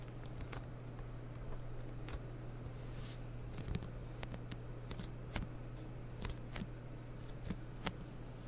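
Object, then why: Plastic bottle. Long painted fingernails tap and scratch the body and white label of a medium blue plastic bottle of cleaning solution with a blue cap, held in the hands. Quiet, sharp clicks and soft scratching scatter irregularly over a steady low hum.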